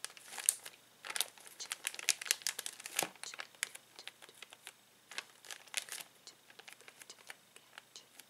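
A flat hand and fingertips press, rub and crinkle a clear plastic zip bag filled with small colorful plastic toy pieces lying flat on a table. The result is a dense run of short, bright crinkles and crackles with almost no low end, in uneven bursts with brief pauses.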